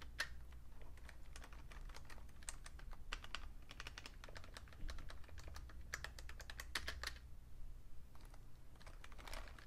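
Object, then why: Plastic computer keyboard. Fingertips type steadily on a vintage beige plastic full-size Fujitsu Siemens computer keyboard with a hollow case. Dense, short, bright clicky taps run throughout over a constant low hum, with brief pauses between bursts of keystrokes.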